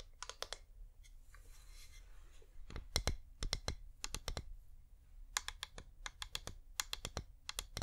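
Painted fingernails tap quickly on a hand-sized, wax-covered flameless LED pillar candle with a hollow top. Bursts of sharp, bright clicks come in quick clusters with short pauses between them, each tap dying away almost at once over a low, steady hum.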